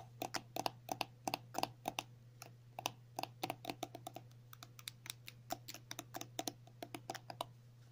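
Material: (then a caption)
Plastic. Long natural nails rapidly tap and scratch a filled, pink and white soft plastic cream tube (50 ml). Each tap is a short, dry click with a hollow mid-range knock and a bright edge, set over a steady low hum. The taps come in quick bursts with brief pauses between them.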